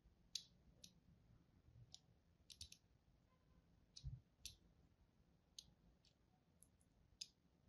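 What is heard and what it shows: A solid green-and-white striped bar of soap, held in the hand, is carved and scratched with the tip of a thin craft knife in crosshatch strokes. It gives small, crisp, bright clicks at irregular intervals, some in quick clusters, each dying away instantly over a quiet low hum.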